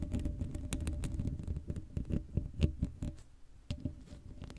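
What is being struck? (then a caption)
Woven metal mesh microphone grille. Long matte acrylic nails on both hands scratch and tap the bare black woven metal mesh grille of a Blue Yeti microphone's hollow dome, left without a cover. Many quick, dry taps and scrapes overlap into a busy, low, rumbling patter with faint bright ticks and almost no ring.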